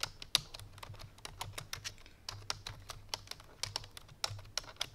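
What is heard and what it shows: A full-size black plastic computer keyboard resting on a white fur rug is typed on quickly with the fingertips and painted nails of both hands. About twenty-two sharp, bright clicks follow in an uneven, rapid stream. Each click ends almost instantly over a faint low hum.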